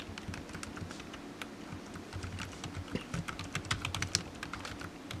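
Fingertips type steadily on the hollow keys of a low-profile black plastic computer keyboard resting on a desk mat. Each keystroke is a quick, dry tap with a bright click on top and a soft hollow thump underneath, dying away almost instantly. The rhythm is fairly even, with a few sharper, louder strokes toward the end.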